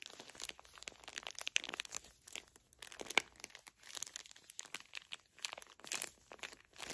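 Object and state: Plastic-wrapped tissue pack crinkled.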